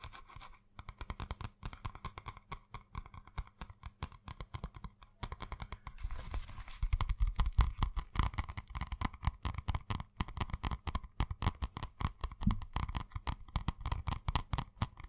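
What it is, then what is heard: Cardboard-covered spiral notebook. Fingertips tap and scratch the hard cardboard cover of a purple spiral-bound notebook with a solid stack of paper, held upright close to the mic. Rapid, dry, dull taps with a deep, thumpy low end run throughout, mixed with soft scratching, and they grow louder and denser midway before continuing in quick bursts.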